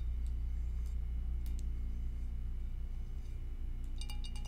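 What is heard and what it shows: An empty, clear glass two-compartment rectangular food container, without its lid and held hollow over a grey surface, is tapped with long acrylic nails and fingertips. Light, bright clicks and clinks sound against a steady low hum, growing quicker and denser near the end.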